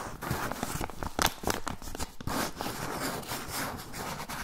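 Fingernails scratch and rub along the surface and edge of a medium-size brown kraft paper pouch with labels, held up. The result is a steady run of dry, crinkly scraping with short, bright bursts and quick rasping strokes that die away almost at once.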